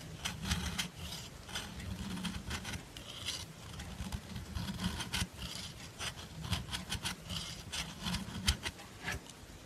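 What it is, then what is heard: Bar soap scraped with a nail file. A dark metal nail file is rubbed and scraped along the side of a solid white-cream bar of soap held in the hand, shaving off white powder. The sound is a steady, dry rasp of repeated scraping strokes, with bright gritty bursts over a soft low rumble.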